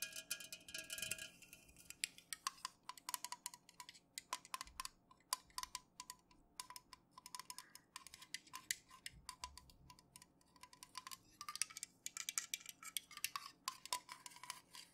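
A fingernail taps rapidly on the body and top rim of an unopened, full 330 ml Pepsi aluminum can, first standing upright and then held tilted. The quick, dry, bright clicks stop almost instantly, with a faint metallic ping around 1 kHz under the high tapping.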